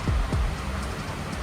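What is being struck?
Nothing is struck.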